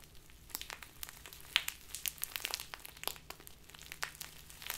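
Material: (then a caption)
Plastic. A small crinkly plastic bag full of loose tea is crinkled and squeezed in both hands with long nails. It makes quiet, bright, dry crackles and sharp snapping pops that die away almost instantly, scattered irregularly over a soft hiss with very little low end.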